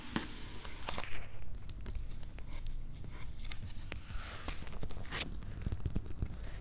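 Flat hands and fingertips rub and scratch the top surface of a medium, closed, hollow corrugated cardboard shipping box with paper labels. The result is a steady, dry, papery scraping and crinkling texture, with brief bright scratches standing out over a low, hollow rumble from the box.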